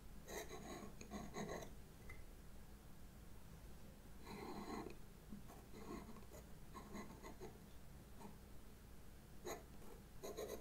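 A Derwent pastel pencil, held by a hand with long red nails, scratches small strokes across a black paper sketchbook page while drawing faces. Short, dry, raspy scraping bursts come and go over a steady low hum, with quiet pauses between the strokes.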